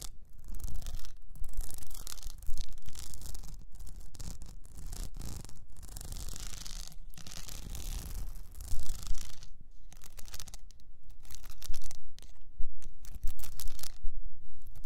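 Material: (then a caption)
Plastic. Long almond-shaped nails scratch an upright cylinder about 20 cm tall, wrapped in blue plastic rhinestone mesh and standing on fur. The result is a dense, irregular, bright rasping and clicking that runs through the clip, with short louder bursts of scratching in the second half.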